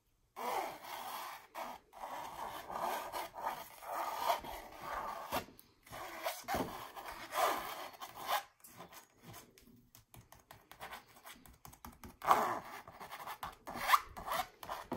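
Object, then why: Stretched canvas print on a hollow frame. Long nails scratch and tap across a stretched canvas wall art print with a red and gold mandala pattern, raised texture and a hollow frame. Dry, papery scraping comes in short rasping bursts separated by brief pauses, centered in the midrange with a light hiss. A few sharper taps stand out near the end.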